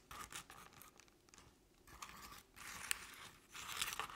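Long painted nails of both hands scratch the sides of a crinkled crepe-paper covered decorative jack-o'-lantern pumpkin, likely hollow. Bursts of dry, bright crinkling and rasping scratches come and go, with quieter gaps between them.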